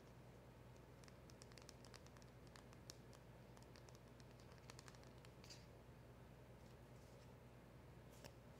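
Long acrylic nails and fingertips tap and scratch a small black printed cardboard box with a silver seal label, held in the hands and seemingly holding a polishing cloth. Quiet, bright clicky taps and soft scratches patter irregularly over a steady low hum.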